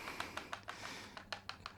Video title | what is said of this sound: KBear Xuange BT15pro: A For Usability and Affordablility but some trade offs | you can hear the IM bouncing around. And actually, the bigger IM, you can hear them knocking on each other